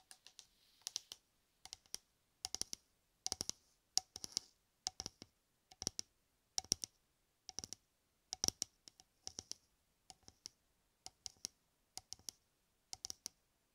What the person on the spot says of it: 05:24 – 08:15 Tapping and scratching shaving cream can